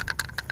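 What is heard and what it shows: A bamboo staff, kept as an heirloom, is shaken with unknown loose contents inside. It gives short, dry rattling clicks with a bright tone around 1.6 kHz, and four separate hits with almost no ring.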